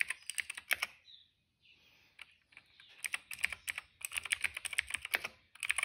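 Fingertips type on a cream plastic retro mechanical keyboard with plastic keycaps and a hollow case, making rapid, bright, clacky keystrokes with very short decay. The typing runs in quick bursts with a brief quieter pause early on, then picks back up into dense, uneven clatter.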